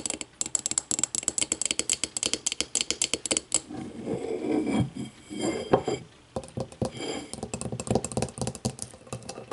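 Long matte nails tap quickly and lightly on the walls of a small, empty, clear glass whiskey tumbler held upside down in the hands, giving short, bright clicks. Midway the nails scratch across the glass in a smoother, continuous rasp. Then the rapid tapping resumes.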